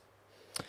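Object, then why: Glass tabletop. A glass tabletop is knocked once by hand in a "knock on wood" superstition gesture, giving a single short, bright click-like tap. The tap has almost no ring and fades within a fraction of a second over a quiet background.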